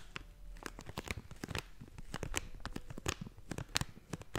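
A hollow blue and yellow plastic/foil snack bag is crinkled and squeezed with fingertips and nails. Sharp, bright crackles and crinkling snaps come in quick, uneven bursts over a low background rumble.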